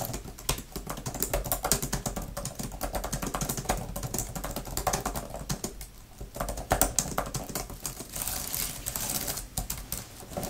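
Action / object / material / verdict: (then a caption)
tap / thin plastic keyboard cover / plastic / none. Fingertips with long nails type quickly on a grey, thin tablet type-cover keyboard with flat plastic keys and a fabric surround. The result is a dense, continuous stream of short, crisp plastic clicks with brief pauses and bright, clacky tops over a soft, low thud.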